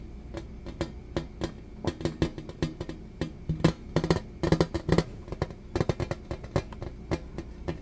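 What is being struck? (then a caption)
Thin metal serving tray. A thin, flat, rectangular shiny silver-colored metal serving tray with a beaded rim and a piece of tape on it is held up and tapped with fingertips and nails. Many quick, irregular taps, some in rapid clusters, each give a short metallic knock with a low hollow ring that dies away almost at once.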